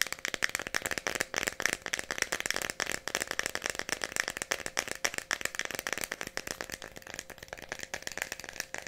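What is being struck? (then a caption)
Plastic pill bottle with pills inside. Fingernails tap rapidly on the cap and body of a small Tylenol plastic pill bottle with a red cap that holds pills. The result is a dense, continuous stream of dry, bright clicks with a rattling edge and almost no low end. Each tap dies away almost instantly, over a faint steady tone near 1.7 kHz.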